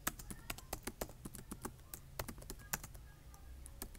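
Fingertips type on a black plastic laptop keyboard, tapping the keys in a quick, uneven run of about two dozen short, bright clicks. Each click dies almost instantly over a steady low hum in the background.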